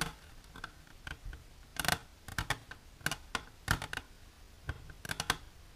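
Long silver-polished natural nails tap an empty, hollow, transparent rectangular plastic container with an inner divider, held upright on a blue cloth. The result is a series of sharp, dry plastic clicks at an irregular pace, some landing in quick clusters. Each tick is bright and dies away almost instantly over a faint low background hiss.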